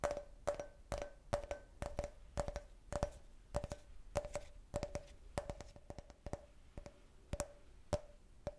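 A clear, hollow, empty can-shaped glass beer glass is held and tapped with fingertips and nails in an uneven rhythm. Each tap gives a short, bright glassy clink with a brief ringing tone near 580 Hz that fades quickly.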